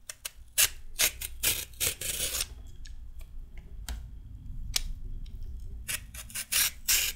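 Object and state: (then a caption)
Raw carrot being peeled. A solid raw carrot is peeled with a red metal peeler, giving bright, scraping rasps in quick, uneven strokes over a low steady hum. About fifteen sharp strokes stand out, a few stretching into longer rough scrapes, with pauses between.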